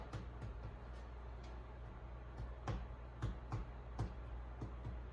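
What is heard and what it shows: A freshly baked sweet potato bread loaf, turned out of its pan, is thumped on the bottom, giving a series of soft, dull, low thuds with a hollow tone and almost no ring. The hollow sound shows the loaf is baked through, and a thermometer reading of 202 and 190 degrees, within the 190–200 target range, confirms it is done.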